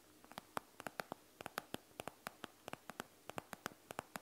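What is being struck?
Gel bead eye mask, plastic front over gel beads.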